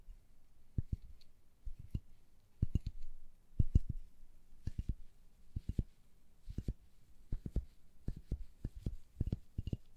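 A small, hollow red plastic telephone-box toy with a ridged window grid is tapped and scratched with long gloved nails. Quick, dry clicks and taps come in loose clusters over soft scratching. The sound is quiet and low, and each tap dies away almost at once.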